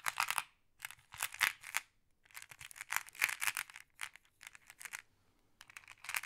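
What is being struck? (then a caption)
Small flat glass pebbles in a wooden tray. A thin wooden or bamboo stick pokes and stirs a pile of small, solid, flat glass decorative pebbles in a round wooden tray. Quick clusters of bright glassy clicks and clinks come in bursts separated by brief pauses, each click dying away almost at once with no low rumble.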